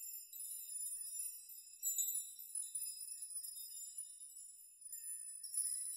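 A metal nail chime of many hanging metal rods is brushed and rocked by open hands and fingertips, knocking the rods against each other. It makes a quiet, continuous, bright tinkling shimmer with no low end. The shimmer swells in brief bursts around the second and near the end.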